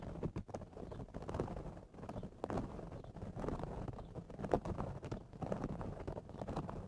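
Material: Straw.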